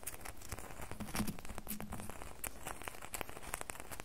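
Fingernails scratch the sides of a solid red bar of soap held in both hands. The result is a steady run of quick, dry scratching clicks with a low, soft body and brief bright ticks, each dying away almost at once.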